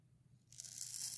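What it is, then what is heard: Dry soap bar being scraped. A utility knife blade scrapes and carves the textured surface of a solid, palm-sized green bar of dry soap held in one hand with long red nails, breaking it into crumbly shavings. A faint low hum gives way after about half a second to a bright, dry, crunchy tearing scrape that builds and continues to the end.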